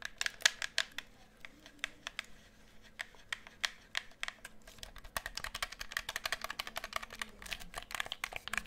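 Rapid fingertip and nail tapping on the hollow shell of a black plastic gamepad with a lit light bar, held close to the mic. The sharp, bright clicks come sparse and irregular at first, then speed into a dense, fast run over a faint low hum.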